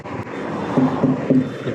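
A rubber truck tyre is tapped three times to check its inflation, giving short, dull, low-pitched thuds around 260 Hz that die away quickly. A steady broadband background hum continues underneath.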